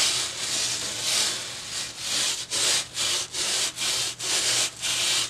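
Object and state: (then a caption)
Foam sheet brushed. A boar-bristle hair brush held in one hand is brushed back and forth across a flat white foam sheet lying on a table, making a bright, hissy rubbing and scratching sound. The first couple of seconds blend into a near-continuous scrub, then the strokes become separate, rhythmic swishes with short pauses between them.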